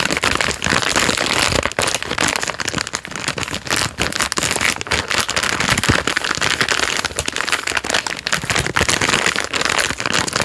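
A thumb rubs and squeezes the plastic film wrapper of a full biscuit packet, crinkling it. Dense, continuous bright crackling and rustling runs for the whole clip with little low end.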